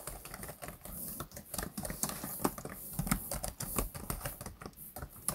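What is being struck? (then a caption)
Plastic laptop keyboard keys. Both hands type and tap with their fingertips on the black plastic chiclet keys of a laptop keyboard. A quiet, irregular run of short clicks and soft taps follows, each with a dull low thump and a faint bright edge that dies away almost instantly.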